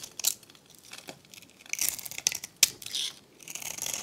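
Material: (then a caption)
Soap. A metal utility blade shaves and scrapes a hand-held, solid rectangular pink bar of dried, varnished soap with a decorated edge. It makes an irregular series of dry, crisp, bright crunching and scraping strokes. Crunchy flakes come off the bar.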